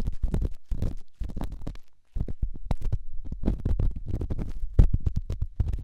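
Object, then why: Small rough stone rubbed against a silicone ear microphone. A small, solid, grey rough rock is held in the fingertips and rubbed and scratched against the silicone ear of a binaural microphone. The result is a close, muffled, low scraping and thumping with many short, dense strokes. A brief quiet gap comes about two seconds in.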